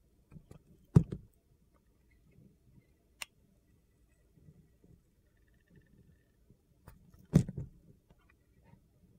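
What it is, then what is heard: Glitter soap bar being carved. A utility knife blade shaves and slices thin layers off the surface of a palm-sized solid bar of green glitter soap held in one hand. Soft, low, gritty scraping runs throughout, broken by two louder, short crunchy cuts and a brief sharp click between them, each dying away almost at once.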